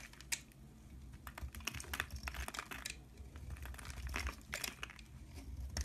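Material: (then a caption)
Soap. A knife blade scrapes thin curls off a solid pink bar of soap held in the hand, dropping them onto a pile of shavings below. It makes a quick run of crisp, dry scraping and crackling bursts, bright and short, over a steady low rumble.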